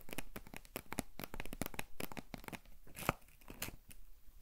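Long nails scratch and tap the printed side of a tall, hollow cardboard potato chip canister held close to the microphone. The result is a quick, dense run of dry, crinkly scratches and light tapping clicks, with one sharper, brighter click near the end.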